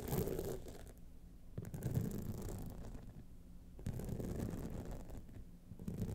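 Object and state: Rhinestone-studded clutch wallet.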